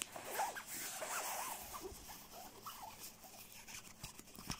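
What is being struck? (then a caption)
Quilted nylon down jacket. Fingertips quickly scratch and grip the nylon shell of a black quilted nylon down puffer jacket lying on blue bedding. The result is a continuous, bright, crinkly swishing and scratching, with short sharp scrapes rising now and then out of a steady rustle.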